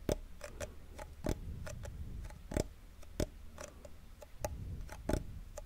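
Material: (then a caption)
Wood. Fingernails tap rapidly on a small hollow wooden cigar box with a printed paper label, held beside the microphone. The result is a quick run of short, dry, clock-like ticks with a hollow woody knock, some louder than others, over a low steady hum.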